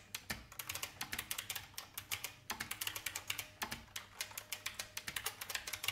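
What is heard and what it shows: Fingertips with long painted nails press the keys of an old, full-size beige IBM plastic mechanical keyboard with a hollow case. A steady run of bright, sharp typing taps and clacks follows, each one short with almost no ring.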